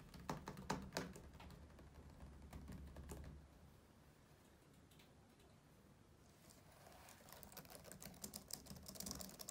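Fingertips type on the keys of a black plastic laptop keyboard and briefly tap the plastic deck above it, making quick, uneven, dry clicks. Dense clicking in the first few seconds fades to a quiet lull around the middle. Brighter, sharper taps then return toward the end.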